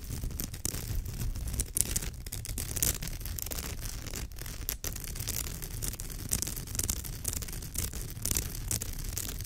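Long nails scratch along the woven fibres of a straw or raffia purse with both hands, making a steady, dense rasping. The texture has a strong low rumble underneath and a bright, crackly hiss on top, with small swells and dips but no pauses.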